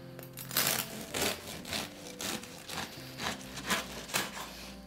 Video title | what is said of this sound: 5 Felder Brot - gesundes Körnerbrot selber backen | man hört dass wieder schön knusprige kruste